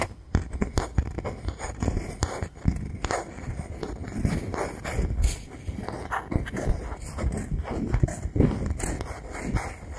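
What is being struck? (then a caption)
Thin bamboo board. Fingertips tap and scratch the surface of a thin, solid bamboo board held level in both hands. A steady stream of dull, low-heavy knocks mixes with soft, dry scraping. Each tap dies away almost at once, with little ring.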